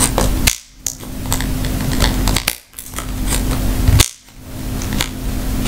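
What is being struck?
Round rattan wicker bag.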